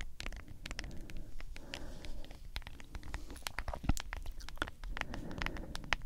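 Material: Plastic.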